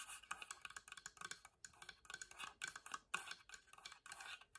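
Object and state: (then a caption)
Wooden box side. Long nails tap and scratch the plain whitewashed wooden side panel of a small hollow box, held up, near the lid seam. Quiet, quick, dry clicks mix with bright, rasping scrapes that have almost no low end, and each sound stops almost at once.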